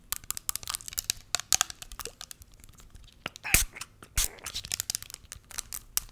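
A small clear plastic spray bottle with a white pump, partly full of pink liquid, is tapped and scratched with long nails and shaken. Dense, bright, crackly clicks and scrapes come in quick irregular bursts with almost no ring, and a few louder sloshing swishes stand out near the middle and just after.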